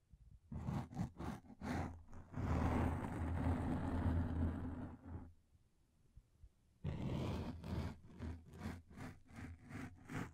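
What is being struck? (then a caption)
Thin flexible plastic sheet. A thin, translucent frosted plastic sheet about a hand's width across, flexible and solid, is held in both hands and bent and scratched with long lilac-painted nails. Quick rhythmic scratching strokes give way to a sustained crinkling, rumbling stretch as the sheet is bent. After a brief near-silent pause, the fast scratching returns, with a heavy low thump under each stroke.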